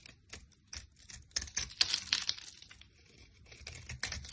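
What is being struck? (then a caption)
Bar of soap. A utility knife blade scrapes a solid rectangular orange soap bar, held by a hand with long lilac nails, into fine crumbly shavings. The sound is a quiet run of dry, bright, crackly scrapes in irregular bursts with almost no low end and no ring after each stroke.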